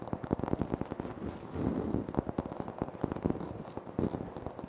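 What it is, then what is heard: Granite floor tile, tapped and scratched. Fingertips and short nails tap and scratch on a flat, solid, speckled granite floor tile. Quick, dry taps with almost no ring come in dense bursts, with a softer scratchy rasp around the middle. The sound sits mostly in the low and middle range.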